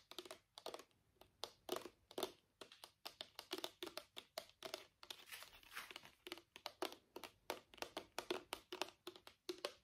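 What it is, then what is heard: Small plastic bottle. Fingertips and nails tap a small, partly full, travel-size plastic bottle of purple micellar water with a white cap in a quick, typing-like pattern. Many short, dry plastic clicks come in uneven bursts, with a hollow body around 360 Hz and a bright, crisp top. Each tap dies away almost at once.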